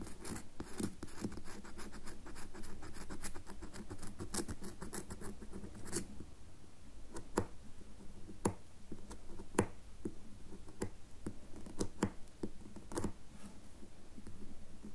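A solid red bar of soap is held in the palm while a single long nail scratches grooves into its top, shaving off white curls. Dense, rapid scratching in the first six seconds gives way to sparser, sharper scrapes and clicks, each one short and dry with a low hum underneath.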